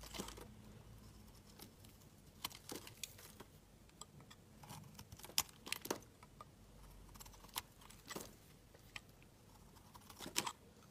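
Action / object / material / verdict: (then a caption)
scrape / bar of soap shaved with a metal blade / soap / none. A metal utility knife blade shaves curls off a solid, palm-sized pink bar of soap held in the hand, producing quiet, bright scraping and carving strokes. The short, crisp scrapes come at irregular intervals over a faint low background hum, with a few sharper, louder cuts standing out.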